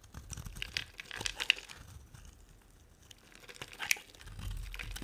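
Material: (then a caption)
Soap. A small metal blade held in the fingers shaves and cuts a dry, solid orange-white striped bar of soap, scraping off crumbs. Crisp, bright crunching and crinkling scrapes come in irregular bursts, with a few sharp snaps standing out. A quiet pause falls midway before the scraping resumes.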